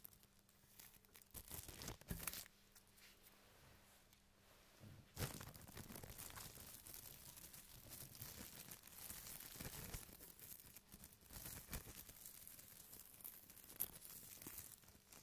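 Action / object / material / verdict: scrape / thin plastic carrier bag / plastic / none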